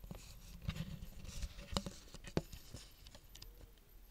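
A small, empty clear plastic tub is tapped with long fingernails while held, then set on a table as the nails keep tapping its rim. Quiet, irregular, dry clicks and light hollow knocks are heard, with a low, thumpy body, brief bright ticks, and almost no ring after each tap.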